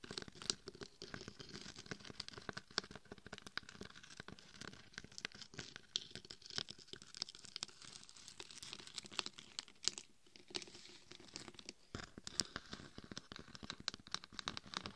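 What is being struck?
Glitter-coated dummy head microphone.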